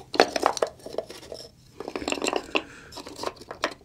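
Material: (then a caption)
Wood. A medium wooden box with small holes or inlays on its face is held up in both hands while fingertips tap and rub its surface throughout; it looks hollow, and its contents are unknown. Short, dry, mid-pitched knocks come in quick, uneven clusters, with faint brushing and a few brighter clicks, and a brief lull about halfway through. Each tap dies almost instantly, with no lingering ring.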